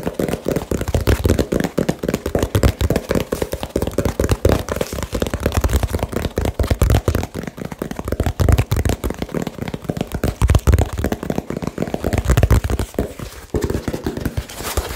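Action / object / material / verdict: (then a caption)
tap / small cardboard box / cardboard / none. Fast, aggressive fingertip tapping on a small hollow brown cardboard box close to the mic. The result is a rapid, continuous run of dull, dry, low-pitched thumps with almost no ring, bunched into bursts across the clip.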